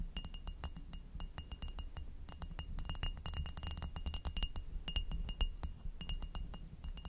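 An inverted amber hobnail glass goblet, textured, hollow and empty, is tapped with long nails, first on the bowl and then on the foot on top. Rapid, irregular bright glassy clinks carry faint steady ringing tones that die away quickly, over a constant low rumble.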